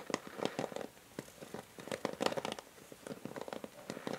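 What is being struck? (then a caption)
Plastic paddle hair brush back. Long nails tap quickly across the hollow grey plastic back of a paddle hair brush with a pink rim, held sideways. The taps are short, dry, crisp clicks with a hollow mid-toned body and bright edges, coming in uneven bursts with quiet gaps between them.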